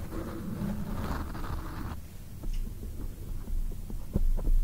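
A black foam microphone windscreen is tapped with long acrylic nails and fingertips, close to the mic. Soft, muffled rustling gives way to a run of dull, bassy thumps with faint clicks, heavy in low rumble and with almost no bright content.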